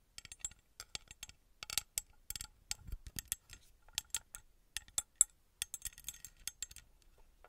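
A small copper-coloured ornate metal pyramid figurine, held in the hand, is tapped and scratched with long red nails. The result is a quiet, irregular series of sharp, bright metallic ticks and clicks with brief scratchy rasps between them. Each tap dies away almost instantly.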